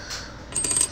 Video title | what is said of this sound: Touching My Brand New 24K 99.999% Pure Gold Coin for the 1st Time | let you know what a real gold coin sounds like